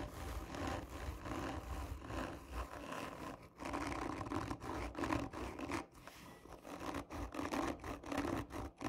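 Long nails scratch hard and slowly across the textured surface of a hollow cardboard tube lying on its side. The strokes make rough, raspy scraping with a hollow, low resonance from the tube, coming in irregular bursts separated by brief quiet dips.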